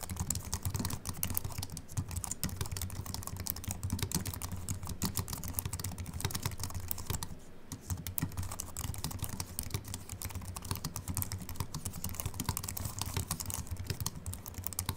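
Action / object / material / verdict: tap / slim aluminium keyboard with plastic keys / aluminium, plastic / none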